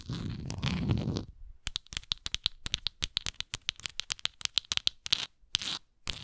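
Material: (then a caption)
Plastic. Long nails scratch the textured plastic near the base of a hollow plastic Tums tablet bottle held tilted. A dense, continuous rasping scratch runs for about a second, then after a brief pause comes a rapid series of short, bright, crisp scratches with almost no ring.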